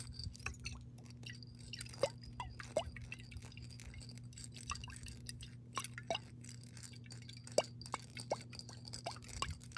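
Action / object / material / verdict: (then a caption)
tap / glass jar partly filled with water / glass / none. Long pink nails tap and scratch the base and side of a clear glass mason jar partly filled with water. Irregular sharp clinks and light scratching sit over a steady low hum.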